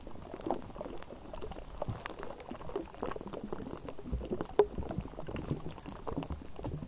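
Long nails on both hands scratch and tap the bare, hollow wire-mesh metal grille of a Blue Yeti microphone. The result is a dense, continuous crackle of soft scrapes and taps, mostly low and warm with little high content, that bubbles like boiling liquid. One sharper tap stands out near the middle of the clip.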